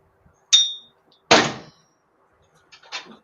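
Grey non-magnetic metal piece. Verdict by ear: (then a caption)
Not lead. A grey, non-magnetic metal piece marked with an RX symbol, pulled from the lead box at a scrapyard, is struck and rings with a clang and a bright, bell-like tone near 3.7 kHz. Two sharp strikes ring out and decay quickly, followed by a softer, scratchier clatter. It looks like lead but is not: it won't cut, won't melt in a small furnace and doesn't spark when ground, and what it is made of remains unknown.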